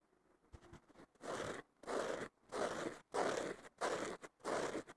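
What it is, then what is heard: Foam sponge being scratched. Fingertips and nails scratch the surface of a thick, porous blue synthetic foam sponge block, possibly with a green scouring layer underneath, lying on a wooden table. After a few faint early touches, six rough rasping strokes come in a steady rhythm, each a dense, breathy scrape centered in the midrange with a bright hiss on top, separated by short silences.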